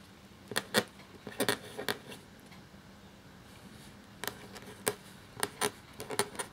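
A black feather quill nib scratches across a thin cream parchment-style paper sheet lying flat while writing. The clip has short, bright, crisp scratching strokes in two bursts separated by a quiet pause of about two seconds. Each stroke stops almost instantly over a soft, low background hiss.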